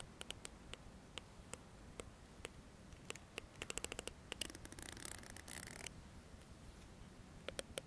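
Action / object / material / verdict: flick / plastic comb / plastic / none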